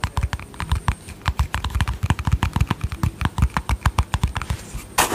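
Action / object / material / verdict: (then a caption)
tap / small plastic cosmetic cream jar with lid / plastic / none. A small, round, hollow yellow-green plastic cosmetic cream jar with a lid is held close to the mic and tapped and lightly rubbed with painted fingernails on its lid and body. About thirty quick, dull, low-heavy taps fall in an uneven rhythm, each dying away almost at once. A brief brighter rubbing swish comes at the end.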